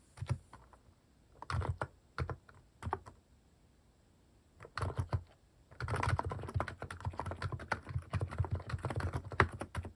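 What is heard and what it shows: Fingertips type in rapid key presses on a plastic mechanical keyboard with sculpted cat-shaped plastic keycaps, resting on a wooden desk. Short bursts of soft, low clacks are broken by pauses, then give way to a steadier, denser run of typing in the second half.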